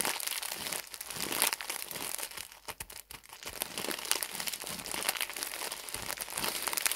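A full pack labelled 14 pads, wrapped in printed plastic film, is squeezed and crumpled between fingertips. The result is a dense, bright, continuous crinkling with sharp crackles and almost no low end. It briefly quiets around the three-second mark before building back up.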